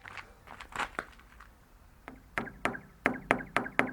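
Taps on the hollow, empty body of a 12 m water rocket each set off a sharp click followed by a rapid train of fading echoes bouncing back and forth inside the tank. The first taps are soft and irregular; the later ones are louder and evenly spaced, each leaving a springy, ringing flutter.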